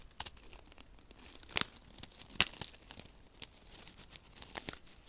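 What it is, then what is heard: Paper silica gel sachet. Fingertips pinch, rub and crinkle a small flat paper silica gel sachet filled with silica beads. Soft, bright crinkling and rustling come in an irregular rhythm, with a couple of louder, sharp crackles standing out partway through.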